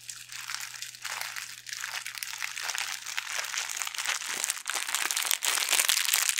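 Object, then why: Thin metallic foil pouch. A small, thin, flexible silver foil pouch is crinkled and squeezed between the fingertips, the same packet throughout. The result is a dense, continuous, bright crackling and crinkling that grows louder toward the end, over a faint steady low hum.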